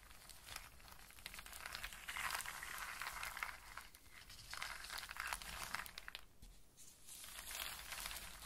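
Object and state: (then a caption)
Pile of in-shell walnuts and hazelnuts. Hands with long nails sweep and rub through a loose pile of dry in-shell walnuts and hazelnuts on a surface, clicking the shells against each other. A dense, bright rattle of irregular clicks and crackles swells and eases in waves throughout, with only brief quieter dips.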